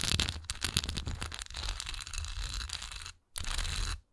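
Long nails scratch across a solid textured wax pillar candle tilted on its side, raking over its raised swirl texture and flat bottom. Dense, bright scratchy rasps with a low rumble run for about three seconds, break off into a brief silence, then resume for another half second.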